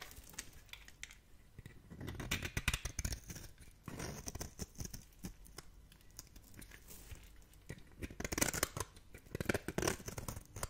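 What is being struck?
Bar of soap scraped with a metal blade.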